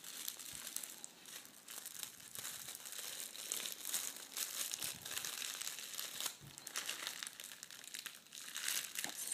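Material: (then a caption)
Metal foil. A folded sheet of red metallic foil gift wrap is folded smaller and pressed with palms and fingers on a wooden table. The result is a steady stream of bright, crisp crinkling and crackling for about nine seconds, with almost no low end.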